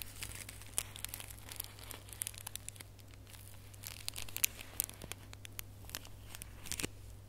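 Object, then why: Small foil-wrapped gift box ornament. A small red holographic foil gift box ornament with gold string is scratched and crinkled by fingers and nails. Quiet, close crinkling and sharp, bright ticks sit over a steady low hum.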